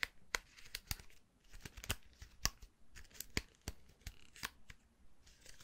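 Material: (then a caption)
Plastic. Fingertips flick and scratch through the black plastic bristles of a hand-held round styling brush with a hollow, vented metal barrel and a black handle. Quiet, close-up sharp ticks and scratchy rasps repeat at an uneven pace. Each has a bright, crisp edge that dies away almost instantly.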